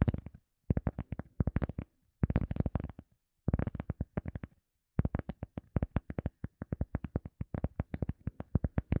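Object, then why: EVA foam sponge disc. Fingertips and nails tap and scratch a round, solid, soft teal EVA foam sponge disc. About fifty quick, dull taps arrive in short bursts separated by brief pauses, then run into a steadier stream. Each tap is a low, muffled thud that dies away almost instantly.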